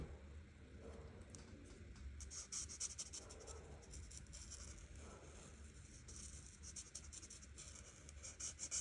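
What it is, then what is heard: Marker scratching on paper. An art marker tip rubs and scratches across a flat paper coloring book page while coloring, making quiet, bright, scratchy strokes in uneven bursts. A low steady hum sits underneath.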